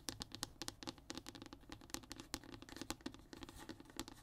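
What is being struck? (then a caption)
Thin hardboard fiberboard panel. Short nails and fingertips tap and scratch on a flat, thin brown hardboard (MDF) fiberboard panel resting on a table. The result is a quick, irregular run of dry, bright clicks and scrapes that die out almost instantly, over a soft, hollow tone around 290 Hz.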